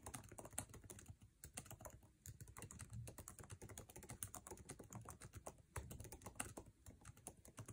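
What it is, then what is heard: Plastic laptop keyboard. Fingertips of both hands type fast on the backlit, low-profile scissor-switch keyboard of an aluminum MacBook Air resting on a table, tapping its plastic keycaps. A dense, continuous stream of short, dry clicks and taps with a soft low thump under each keystroke and bright clatter on top.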